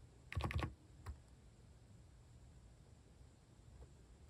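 Fingertips type on a capacitive keyboard with plastic cat-design keycaps, giving a quick burst of soft, low, thocky key presses around half a second in, then one more keystroke about a second in. A faint tap follows near the end over a quiet background hiss.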